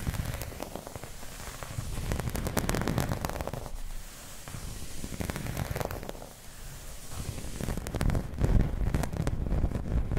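Long red nails and flat fingers scratch and rub a round, dark green, embossed plastic placemat. The result is a dense, crackly scraping with a heavy low rumble. It swells and eases in waves, with the loudest rasping near the end.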